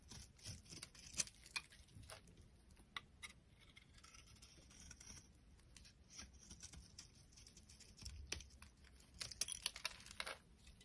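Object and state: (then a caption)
Dry soap bar carved with a blade. A metal utility knife blade carves a solid oval pink bar of dry soap held in the hand, scraping it into flakes. Quiet, dry, crackly scrapes and bright crisp cuts come in irregular bursts, with sharper flicks near the start and end and almost no ring after each stroke.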